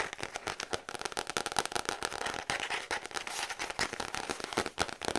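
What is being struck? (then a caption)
Paper notepad with cardboard back. Long acrylic nails tap fast and aggressively on the brown kraft cardboard back of a letter-size paper notepad held up close. The result is a dense stream of sharp, dry, crackling clicks with a bright, papery tone, almost no low end, and no ring after each tap.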